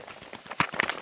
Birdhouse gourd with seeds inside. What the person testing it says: I can hear the seed it's moving around in there but it's not like a dry thump it definitely sounds like there's some moisture in there